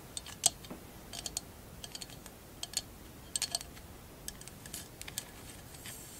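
A short, hollow, empty glass jar covered in glass mosaic tiles is held and tapped with long acrylic nails. The result is a quiet run of sharp, bright clicks and clinks, some in quick clusters, each dying away almost instantly over a faint hiss.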